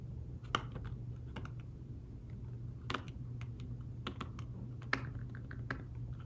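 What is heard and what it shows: Fingertips type on a thin folio tablet keyboard with fabric-covered keys, producing soft, muted taps and clicks at an irregular pace. The short, dull taps sit over a steady low hum.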